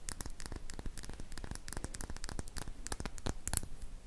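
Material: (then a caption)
Glass. A small glass serum dropper bottle with a silver cap, which appears to hold liquid, is held in one hand and tapped and scratched with long painted fingernails. Quick, irregular clicks and scratchy strokes come in a steady stream, each short and bright over a low, soft rumble.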